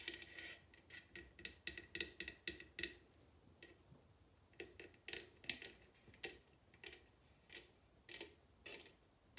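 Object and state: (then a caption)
Bamboo bowl tapped with nails. A large, hollow bamboo wooden bowl turned upside down is tapped and scratched with long nails. The result is a quiet series of short, bright clicky taps with a hollow tone near 2.6 kHz. Each tap fades almost at once, with soft scratching between them.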